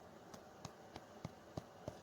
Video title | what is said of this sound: Camp Minsi Virtual Cooking Demo | that solid, solid sound with a hollow inside is exactly what I'm looking for